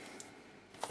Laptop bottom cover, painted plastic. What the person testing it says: this is not metal this is actually plastic you can see the hollow sound of it